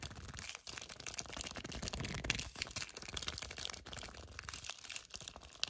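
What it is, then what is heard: Cardboard box, scratched and gripped. Painted nails and fingertips grip and scratch a full yellow cardboard chocolate bar box held horizontally. The result is dense, bright crinkling and scratching of the cardboard, mostly high and continuous, with a few brief pauses between bursts of quick gripping.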